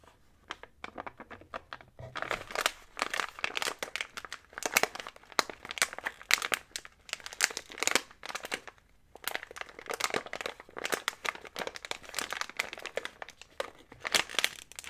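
Fingertips and short nails press, squeeze and rub a small sealed, printed plastic Kirkland Trail Mix snack bag full of nuts, raisins and candies. A few sparse ticks give way to dense, bright crinkling with sharp crackles, which pauses briefly near the middle and then resumes.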